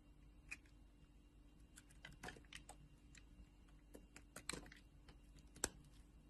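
A solid pink bar of soap, already heavily carved, is held in fingers with long painted nails and shaved with a metal utility knife blade. Quiet, irregular, crisp scraping and clicking cuts come through, each short and dry with bright edges, over a low steady hum, with a few sharper slices standing out.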